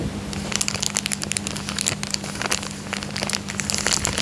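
A thin, clear, empty plastic coin bag is folded into a triangle and crinkled with the fingertips on a fabric couch. Dense, bright, crisp crackles and crinkles come in rapid bursts throughout, over a steady low hum.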